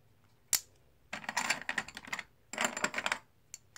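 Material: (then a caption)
Plastic. Solid plastic or composite poker chips are dropped one by one by fingertips onto a stack held in the palm. A single sharp click is followed by two rapid, dense runs of bright, crisp clicking, then a few soft, scattered clicks at the end.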